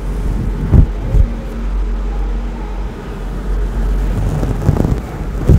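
Fingertips and nails scratch and rub a large grey fluffy faux-fur microphone windscreen over a microphone, which is soft and hollow. A dense, muffled low rumble of brushing fur fills the clip, with a few soft, deep thumps as the cover is pressed.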